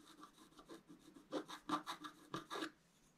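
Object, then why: Wax-coated scratch-art paper sheet. A wooden stylus scratches long strokes across a thin, flat, black wax-coated scratch-art paper card. It makes a quiet, dry, papery rasp with a mid-range tone and brief bright hiss. The strokes come in a series, with the later ones louder and more distinct before the sound fades out.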